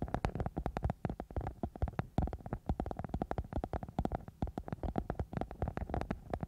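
A thin, soft, flexible silver glitter-covered foam sheet wrapped over the microphone is scratched and rubbed with long nails and fingertips. The result is a steady stream of quick, crackly scratching bursts with a heavy, muffled low-end thump and very little brightness.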